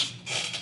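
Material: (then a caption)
Plastic. A plastic Berkley Frittside crankbait fishing lure, the rattling version with internal rattles, is shaken to show off its loud rattle, a sound to be eliminated for cold-water fishing. It produces a short, bright, dry clatter centered around 3.5 kHz with almost no low end, dipping briefly before a second burst of rattling.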